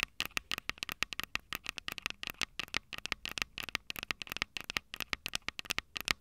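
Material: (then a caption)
Metal. Long purple nails tap and scratch the two metal mic capsule heads of a small Tascam DR-05 handheld recorder with a plastic body. About forty sharp, bright clicks come in quick succession, each dying almost instantly with hardly any low end. Between them runs a faint scratchy texture, peaking around 2 kHz.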